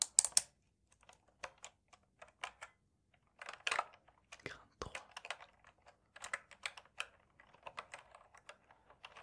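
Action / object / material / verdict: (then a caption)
tap / plastic mechanical keyboard keys / plastic / none. Fingertips tap and press the keycaps along the edges of a full-size black plastic mechanical gaming keyboard with a wrist rest, held upright against the chest between two microphones on either side. An irregular series of quiet, sharp, bright clicks and taps follows, some in quick clusters, with almost no low end and no ring after each hit.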